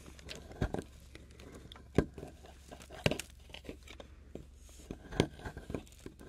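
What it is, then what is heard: Plaster block being scraped and chipped. A solid, crumbly plaster excavation block resting on a wooden board and held by a hand is scraped and chipped with a metal palette knife and pick. Short, crunchy scrapes and sharp chips break off crumbling debris against a low, quiet background, with several louder clicks standing out.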